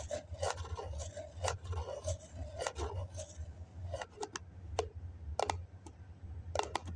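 Fingertips and nails scratch and tap the wall and lid rim of a small, hollow white cup, likely styrofoam, with a snap-on plastic lid, held in the hand. Soft raspy scratching in the first half gives way to sharp, dry taps with bright clicky edges and almost no ring, over a steady low hum.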